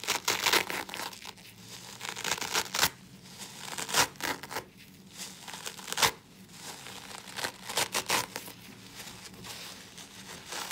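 Gloved fingertips pick, pull and tear at the green abrasive nylon scour layer of a hand-sized, rectangular yellow polyurethane foam kitchen sponge that is soaked and covered in soap suds. The result is a steady run of bright, wet tearing and crinkling, with sharper crackling bursts standing out every couple of seconds.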